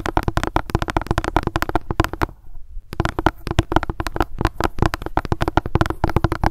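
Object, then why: Plastic sunscreen gel bottle. A plastic sunscreen gel bottle has its top tapped rapidly with long nails, producing a dense stream of short, dull plastic clicks with a faint tone near 330 Hz. The tapping stops briefly a little past the two-second mark, then resumes at the same quick pace to the end.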